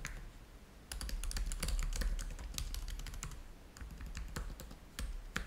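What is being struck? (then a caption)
Plastic laptop keyboard. Fingertips type on the keys of a black plastic laptop keyboard, producing rapid, uneven clicks with bright, sharp edges over a low background rumble. The typing comes in bursts with brief pauses between them.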